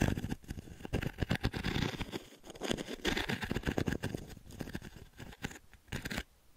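Fingertips and nails scratch the metal mesh panel of a small octagonal light wooden frame, held tilted near the mic. Rapid, uneven bursts of raspy, bright scratching mix with soft low thumps. The scratching fades out near the end, leaving a brief quiet tail.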